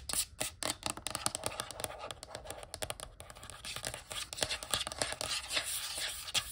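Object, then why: Glass water bottle with water. A clear glass water bottle with water inside, held on its side, is tapped quickly with long nails. Rapid, bright clicking taps come in an uneven stream, each short and dry with almost no ring and little low end.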